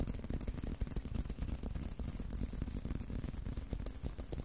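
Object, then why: Leather belt. A leather belt is tapped and scratched continuously in quick, slightly irregular strokes. The sound is soft, dull and low, with short, dry taps over a scratchy rustle.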